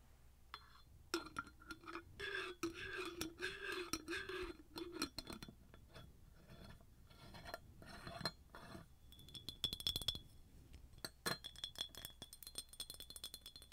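Long nails tap a hollow, empty, ribbed red glass jar shaped like a tree, with a metal lid and a straw. The taps give many short, clear, bright clinks with a ringing high tone, mixed with scrapes and rustles.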